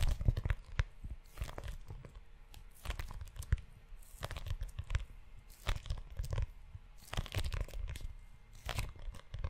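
Fingertips and short nails scratch the cover and spine of a tan, book-sized leather notebook held close to the mic. Dry, scratchy rasps come in quick bursts with bright crackle on top and a heavy, low rumble underneath. Each stroke stops abruptly, with short quiet gaps between them.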